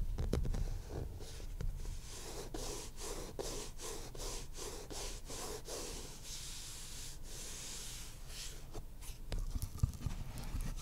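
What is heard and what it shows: Short fingernails scratch the cloth cover of a maroon cloth-covered hardcover book, making quick, irregular rasping strokes. Each stroke is a soft, bright, hissy scrape over a steady low rumble. The strokes cluster most densely in the middle of the clip before thinning out.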